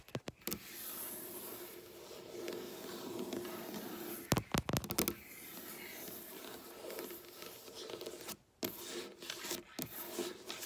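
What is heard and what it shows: Long black nails scratch and rub slowly along a solid, flat, dark wooden tabletop, giving a steady, soft, broadband rasp. Around the four-to-five-second mark, a burst of sharp, bright clicks and taps cuts through, with more isolated taps near the end.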